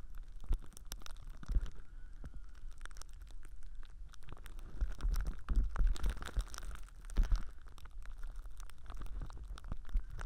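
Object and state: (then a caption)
Plastic cling wrap. Fingertips crinkle and squeeze thin, clear plastic cling film wrapped around a binaural ear microphone. The result is a steady stream of close, dense crackles and rustles, with low, muffled thumps from the pressing.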